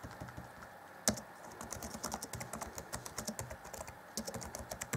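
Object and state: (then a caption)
Plastic laptop keyboard. Fingertips type on the black plastic chiclet keyboard of a 2014 Acer Chromebook C20, set in a grey deck. A steady run of short, bright plastic taps with almost no ring follows, with a sharper, louder clack at about one second and another near the four-second mark.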